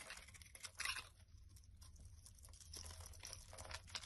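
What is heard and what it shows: A solid rectangular white bar of soap with embossed lettering is held in the hand while flakes are shaved off it with a black utility blade. Dense, crisp scraping and crunching fill the clip with bright, rustling texture, with a louder burst near the start and a soft low hum underneath.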